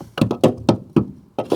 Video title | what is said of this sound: I Paid £100 For This 'Barn Find' Proton Saga Iswara - How Bad Could It Be? | Saya sebenarnya akan mengetuk roda ini Arch juga ia tidak busuk